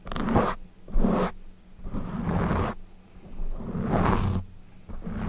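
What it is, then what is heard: Foam microphone windscreen being scratched. Fingertips of both hands scratch and rub a soft, porous, fist-sized dark foam windscreen mounted over a studio microphone. Close, crackly scratching comes in repeated rushing bursts with a heavy low rumble and a faint steady hum, separated by brief quieter gaps.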